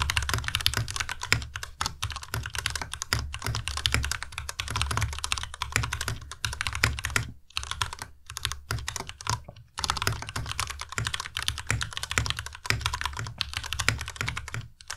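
A compact white Ducky Miya Pro mechanical keyboard with white plastic keycaps and Cherry MX Red switches is typed on continuously with the fingertips of both hands. A steady stream of quick, clacky keystrokes with bright tops and a low thump blends into a dense patter, broken by a few brief pauses.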